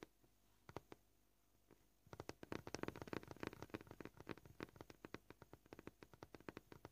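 Short purple-painted nails tap on a solid white plastic cutting board. A few sparse, dry clicks come first, then from about two seconds in they break into a fast, uneven run of crisp taps with a hollow, mid-toned knock. Each tap dies away almost instantly.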